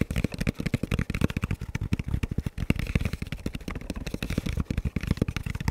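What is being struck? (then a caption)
Composite ballistic helmet shell. Fingertips tap and scratch the shell and black velcro strip of a hollow, dark camo composite ballistic helmet held upright. About 34 quick, dull, hollow knocks come in a rapid, uneven run. They are deep and low-pitched with almost no ring, mixed with soft scratchy rustle between them.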